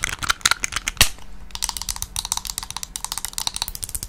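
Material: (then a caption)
Plastic. Long nails rapidly tap and scratch a teal plastic cosmetic bottle with a pump cap, partly filled with liquid. The result is a quick, steady run of about two dozen crisp, bright clicks with very short decay and one louder tap near the one-second mark.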